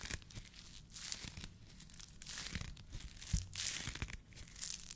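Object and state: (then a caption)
Foam fruit protection net. A white polyethylene foam fruit protection net, a hollow mesh sleeve, is stretched, squeezed and rubbed with the fingers of both hands. It gives dense, crackling, tearing-like crinkles with bright hissy bursts over soft low thumps, rising and falling in quick irregular waves.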